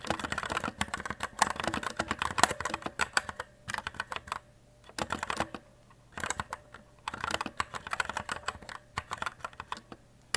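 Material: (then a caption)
Plastic. Fingertips type steadily on a white E-Element Z-88 RGB mechanical keyboard with plastic keycaps. Quick bursts of sharp, dry clacks with bright edges decay almost instantly, broken by brief pauses. A faint steady tone sits underneath throughout.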